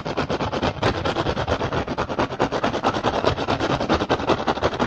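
Fingertips tap and scratch fast across the weave of a hollow woven rattan basket. It makes a rapid, steady run of short, dry clicks and scrapes with a hollow low body and bright rustling edges.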